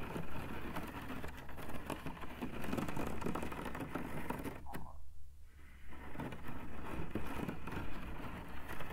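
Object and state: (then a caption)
Woven rattan cane panel. Fingertips behind a thin woven rattan cane webbing panel with open holes tap and scratch the weave. The result is a steady run of dense, low, rumbly scratching and soft tapping, with a brief quieter lull midway before the scratching resumes.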